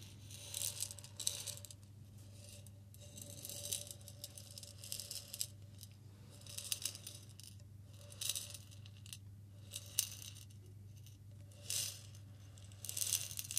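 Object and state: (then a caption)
Glass jar of salt being shaken. A medium glass jar with a white plastic lid and a green label, partly filled with pink salt, is held in both hands and shaken and tilted. The salt rattles inside in bright, gritty bursts of many crystals striking the glass, separated by quieter pauses over a steady low hum.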